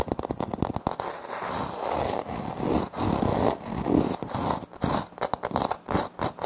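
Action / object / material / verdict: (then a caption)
scrape / wood-look laminate floor panel / laminate / none. Both hands scrape and scratch a flat, solid wood-look laminate floor panel with a light wood-grain print using short nails. Quick, crisp ticks open the clip, then give way to longer, rough scraping swells in the low-mid range, and a few scattered taps return near the end.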